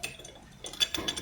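A metal clutch part from a Yamaha N-max scooter is refitted and shaken by hand, producing a quick series of light, high-pitched metallic clinks that die away almost instantly. The rattle comes from excessive play in the part, which is the source of the clutch noise.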